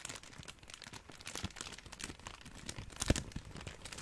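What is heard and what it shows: A large wad of clear plastic bubble wrap is squeezed and crinkled with fingertips. Soft, dense crinkling and small crackles run throughout, with a brighter burst of crinkle near the end. One louder, sharp snap stands out just after three seconds.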